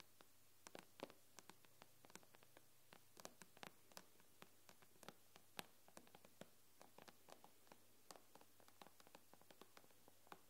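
Long nails tap the black glass screen of an iPad tablet with both hands, giving about 40 sharp, dry clicks in an irregular, quick rhythm. Each tap is brief and bright with almost no ring, heard quietly over a steady low hum.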